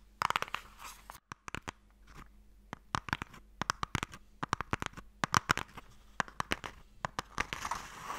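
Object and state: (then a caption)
Wooden box being tapped and scratched. Long nails tap and scratch across the lid of a closed wooden Mikado box. Quick, dry taps with almost no ring come in irregular bursts, mixed with soft, bright scratching rasps and a faint steady low hum underneath.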